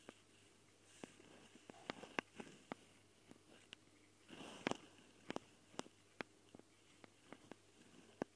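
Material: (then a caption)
Metal mesh. Long dark fingernails of both hands scratch the metal mesh grilles over the twin microphone capsules of a small Tascam recorder, with the fingertips held close to the capsules. About fifteen sharp, dry clicks and scrapes sound over a quiet background, with a longer rustling burst of scratching around the middle.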